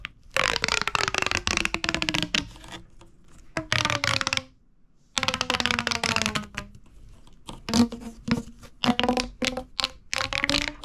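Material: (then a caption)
Plastic. A hollow purple corrugated plastic pop tube is squeezed and crunched in the hand with the fingers and thumb. It gives bursts of dense, bright crackling pops and clicks, with a low whistling tone that slides downward through each squeeze. The bursts stop briefly in a short silent pause before resuming.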